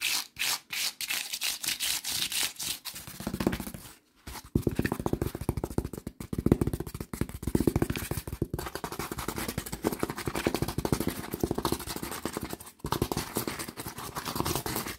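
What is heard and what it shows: Fingertips rub and scratch along the exposed cell edge and textured paper face of a strip of brown honeycomb cardboard. The result is a dense run of rapid, dry scratching and scraping. It has brief pauses near 4 and 12.7 seconds.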